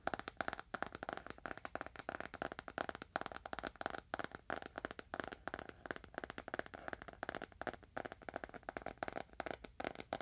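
A solid, dark leather-bound book is held horizontally in both hands while fingernails tap rapidly on its top surface. The result is a quiet, steady stream of dozens of short, dry clicking taps with a mid-range tone around 680 Hz and almost no ring after each one.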